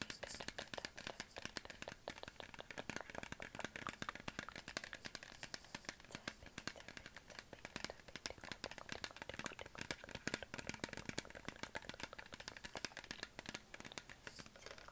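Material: Plastic.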